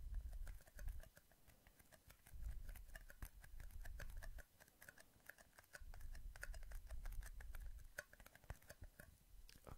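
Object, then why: Small thin plastic cups. Two identical small, empty, hollow clear plastic cups, one held in each hand beside the microphone, are squeezed and tapped quickly with fingertips. The result is a dense run of sharp, short clicks and crinkly taps with bright edges over a low rumbling handling noise that swells and fades in patches.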